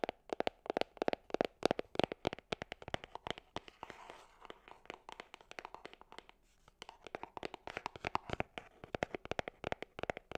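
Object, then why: Small cardboard gift box. A small, hollow, gold cardboard gift box held horizontally is tapped and scratched with long nails. Rapid, dry, short taps with a hollow midrange tone fill the clip, easing into softer, denser scratching through the middle before brisk tapping returns.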